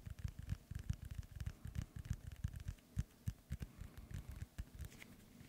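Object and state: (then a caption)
Synthetic leather soccer ball. Fingertips and nails tap rapidly on the panels of an inflated, hollow soccer ball with a synthetic leather cover, held next to the microphone. The quick, soft taps give dull, hollow low thumps with a faint crackle on top, each dying away almost instantly.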